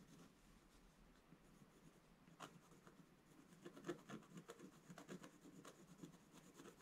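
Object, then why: Scratch-art paper page with wooden stylus. A wooden scratch stylus scratches hatching strokes into the black coating of a scratch-art page in a book lying flat on a table. Quiet, dry scratching and rubbing is heard, with short raspy strokes that grow busier and more rhythmic in the second half.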